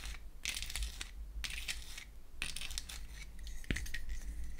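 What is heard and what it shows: Long acrylic nails tap and scratch the wells, back and lid of a small pink-painted wooden toy eyeshadow case, which is opened and then closed. Bursts of bright, dry scratching alternate with quieter gaps, and a sharp click stands out near the end. A low steady hum runs underneath throughout.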